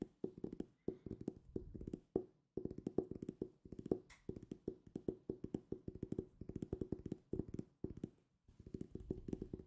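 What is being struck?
Hardcover book.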